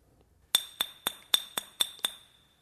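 A glass bottle is tapped seven times, each tap giving a bright, clinking ping that rings at its own resonant pitch of about 3520 Hz, an A. This note is far higher than the 196 Hz tone of the air inside the bottle, because the glass and the space within it resonate separately.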